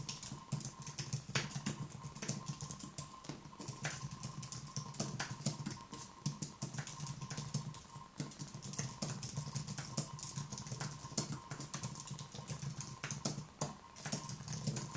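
Fingertips tap the keys of a white, low-profile Apple Magic Keyboard with plastic keys and an aluminium body, resting on a wooden desk. Quiet, rapid typing produces a steady stream of short, bright clicks over a low hum and a faint tone near 1 kHz.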